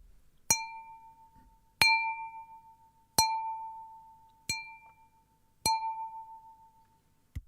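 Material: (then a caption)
Glass. A cup partly emptied of water is tapped five times, each tap giving a clear, bell-like ring that decays slowly, followed by a short, duller knock at the end. The lower water level changes the pitch of the ringing tone.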